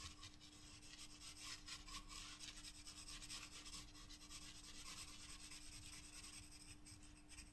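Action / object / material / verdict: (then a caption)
scrape / graphite pencil on paper sketchbook page / paper / none. A graphite pencil shades and rubs across a white paper page in a spiral-bound sketchbook with steady strokes. The sound is a continuous bright, raspy scratching that swells and fades with each stroke, over a faint steady low hum.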